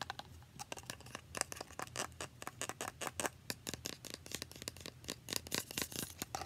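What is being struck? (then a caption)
Plastic spray bottle with liquid. Long painted nails rapidly tap and scratch a small, translucent Mario Badescu facial spray bottle made of plastic, partly filled with liquid and held in one hand. The result is a fast, irregular stream of sharp, bright clicks and scrapes with almost no ring, over a faint, steady low hum.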